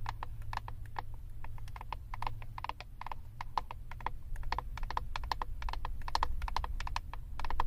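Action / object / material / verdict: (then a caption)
tap / plastic eyeshadow compact tapped with acrylic nails / plastic / none. Long acrylic nails tap rapidly and irregularly on the back of a flat plastic eyeshadow compact. Each tap is a short, sharp click with a hollow tone near 950 Hz that dies away almost at once, over a steady low rumble.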